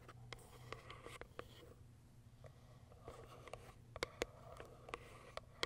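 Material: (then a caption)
Cardboard. Long white acrylic nails tap and scratch the top of a small, closed, pale pink printed Kiara Sky cardboard box. Sharp, dry clicks with almost no ring stand out over soft scratching, with a faint low hum underneath. The sound is quiet, with the hardest taps landing near the end.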